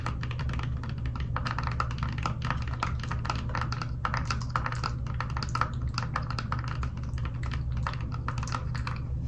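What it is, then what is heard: Plastic toy makeup compact. A small hollow pink plastic toy makeup compact with a clear lid is held close and tapped rapidly with long nails, then opened. The result is a steady stream of light, crisp plastic clicks and taps ringing around 1.2 kHz over a constant low hum.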